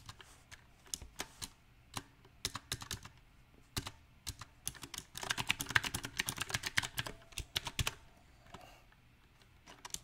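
Fingertips type on a backlit compact mechanical keyboard with round typewriter-style plastic keycaps on a silver metal frame. Sharp, bright clacks come at an uneven pace, sparse at first, then a dense flurry in the middle before easing back to scattered keystrokes. Each key strike is short and dry with almost no ring.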